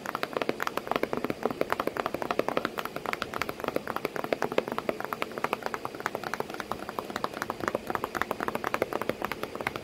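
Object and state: Cardboard box.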